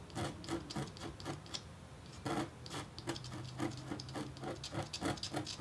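A red-handled metal stylus scratches fine hatching lines into a flat, thin, black-coated copper-foil scratch-art engraving board. The result is a run of quick, uneven, dry rasping scrapes with bright, hissy edges over a faint low hum, each stroke short and dying away fast.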